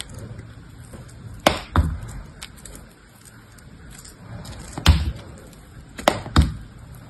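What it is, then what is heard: Dried soap block being cut. A metal blade shaves and scrapes the surface of a hand-held block of dried soap, beige with a blue layer, with some foam on the fingers. Several sharp, crisp chopping cracks stand out from a quiet, steady scraping hiss. Each crack carries a dull low thud and dies away almost at once.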